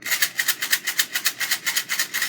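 A small mint box filled with beads is shaken with its lid closed in a steady rhythm. Each shake gives a bright, rattling hiss with no low end, about 16 sharp pulses in a little over two seconds. The shaker sounds good.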